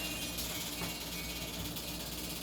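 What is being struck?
Nothing is struck.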